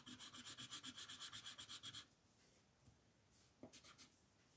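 An orange colored pencil rubs and scratches across a flat white paper mandala coloring sheet in shading strokes. Thirteen quick, even back-and-forth strokes make a bright, dry scratching rhythm for about two seconds. After a short near-silent pause, a few more strokes follow.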